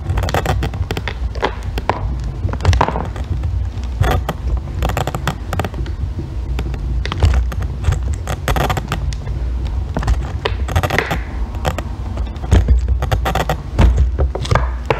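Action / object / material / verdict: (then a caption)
scrape / bar of soap scraped with a metal tool / soap / none. A solid green bar of soap, held on its end, is shaved with a metal extractor tool, and curls of soap fall away. Dense, rapid crackling scrapes run steadily throughout, with sharp bright bursts over a heavy low rumble.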